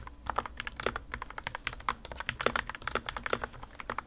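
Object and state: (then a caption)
Mechanical keyboard being typed on. Two hands type continuously with their fingertips on the plastic keycaps of a modded white plastic RK61 60% mechanical keyboard resting on a desk mat. A rapid stream of short, dry keystrokes is heard, each one a mid-toned clack with a bright edge that dies away almost at once.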